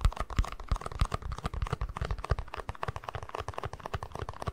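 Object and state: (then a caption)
Plastic cup tapped and scratched. A small, hollow, empty white plastic cup is held in one hand and tapped and scratched with the fingertips and nails of the other. It produces a quick, irregular stream of soft, dull, low taps mixed with faint scratching, each click dying away almost instantly.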